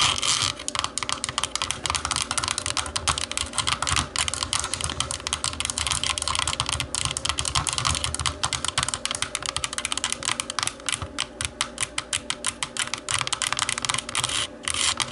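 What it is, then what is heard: Plastic TV remote. Long nails tap rapidly on the textured hollow back of a black plastic TV remote lying face-down. The result is a dense, continuous stream of bright, crisp plastic clicks with short, hollow decays.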